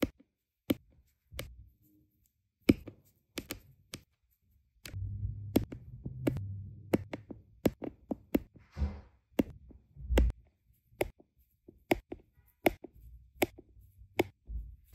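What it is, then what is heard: Resin diamond painting drills pressed onto adhesive canvas. A plastic drill pen with a metal tip repeatedly taps small, solid, round resin diamond painting drills into place on a flat adhesive canvas. Around two dozen short, sharp, dry clicks ring out with almost no decay, over a soft low rumble in the middle of the clip and a brief faint hiss just before the ninth second.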